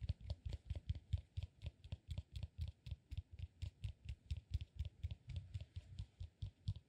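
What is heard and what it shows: A solid peanut-shaped cork massage ball is held upright and tapped and scratched with the fingertips. About 33 quick, quiet taps come in a steady, fast rhythm. Each is a dull, low thud with a faint bright click on top and no ring afterward.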